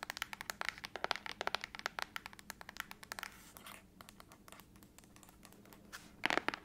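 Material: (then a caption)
Aluminum. Long acrylic nails tap and scratch the back of a closed silver aluminum laptop lid held upright. Rapid, dry, bright clicks with almost no ring give way to a soft scratchy stretch in the middle, then a faint pause. A final cluster of sharp taps ends the clip.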